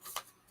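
A Reprise 45 rpm record of "Pocket Full of Miracles" is tapped once to test whether it is styrene or vinyl. The single short, dull tap dies away almost at once with no ring, marking the record as vinyl rather than styrene.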